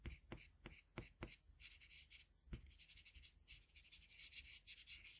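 A blue colored pencil held in a metal extender makes small, scratchy strokes on a flat sheet of white drawing paper while filling in an eye. Several sharp, low taps land in the first seconds, then bright, papery scratching runs on in short bursts through the rest of the clip.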